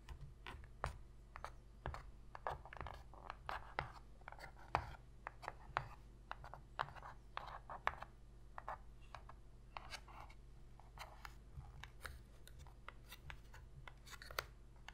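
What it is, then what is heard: Cardboard box lid scratched with fingernails. Long pink fingernails scratch the inner bottom surface of an empty, shallow white cardboard box lid. Many quick, dry scratching strokes cut sharp and bright over a steady low hum. The recording stays quiet, and each stroke stops almost at once.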